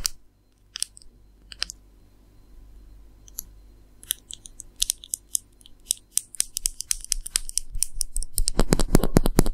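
A slim black plastic eyeliner or brow pencil, small and possibly hollow, is held horizontally in both hands over a red bag and tapped and scratched along its length with long manicured nails. Sparse, bright clicks give way to quicker, denser tapping and scratching that grows steadily louder and fuller toward the end.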